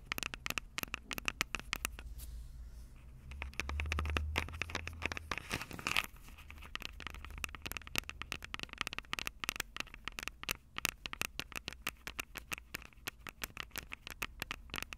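Long purple nails tap and scratch the silver metal mic capsules of a Tascam DR-05 handheld audio recorder. Dense, rapid, dry clicks with a bright edge and almost no ring ride over a soft low rumble that swells around the fourth second. A brief scraping rush follows near the sixth second before the quick tapping resumes.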